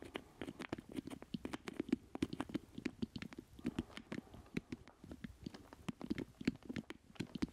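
Fingernails and fingertips tap quickly and irregularly on the casing of a black plastic joystick controller with a hollow base, held in both hands, and around its stick. The many sharp, short clicks each carry a hollow, low-mid resonance and die away almost instantly, under a faint, steady background hiss.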